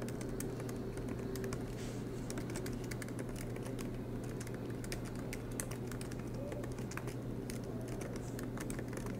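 Fingertips of both hands type continuously on a silver MacBook Pro laptop's low-profile black plastic keys, set in an aluminium body, resting on a desk mat. A steady stream of light, quick, bright key taps runs throughout over a constant low hum.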